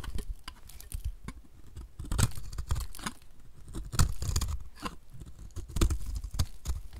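A utility knife blade scrapes flaky chunks off the face of a solid oval, pale pink bar of dry soap held in hand. Irregular dry, crunchy scrapes and brittle crackles come in short bursts with quick low thumps and no ringing after each stroke.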